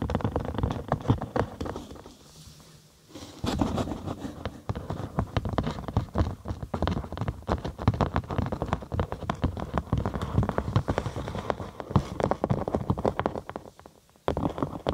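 A large hollow cylinder of rolled cork sheet is tapped and scratched with long acrylic nails and fingertips. Quick, irregular, dull taps mix with rough scratching, mostly low and bassy with little ring, pausing briefly near 2–3 seconds and again near 14 seconds.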